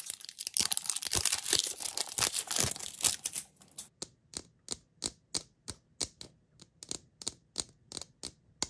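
Short pink-painted nails tap and click on the shell of a small, hollow, round yellow plastic toy capsule, which is closed and held in the fingers. A dense, bright stretch of rapid clicking and rustling runs for about three and a half seconds. It then gives way to crisp, separate high clicks in a loose, steady rhythm, each one dying away almost at once.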